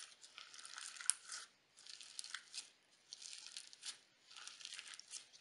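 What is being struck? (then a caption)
Sequin slime. A mound of pale pink crunchy sequin slime on a white table is pressed and poked with fingertips and nails. It gives four quiet bursts of dense, bright crackling pops with almost no low end, separated by short near-silent pauses.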